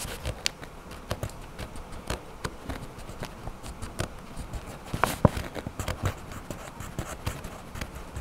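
A hand scratches a dark wax crayon across the page of an open paper coloring book resting on a table, in short strokes. The quiet, dry scratches come as brief broadband bursts that reach up into the high range, spread unevenly through the clip over a soft, low background.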